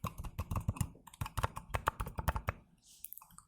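A small, somewhat metallic "Gold" game box is tapped with quick, light taps, about twenty in all. The taps are short and dull with little ring, weighted toward the low end with a faint tone near 1.1 kHz. They fade into a brief pause before a few softer taps close the clip.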